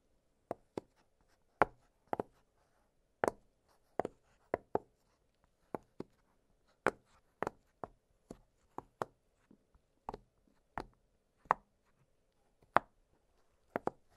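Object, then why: Silicone pop-it fidget toy. Fingertips press and pop the hollow bubbles of an octagonal blue silicone pop-it fidget toy lying flat on a glittery surface. About twenty quiet, dry, short pops come at an uneven pace, each a soft snap centered near 690 Hz with almost no ring. A faint steady hum sits underneath.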